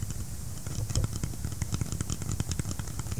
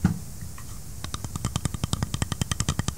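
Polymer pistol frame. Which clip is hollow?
The second.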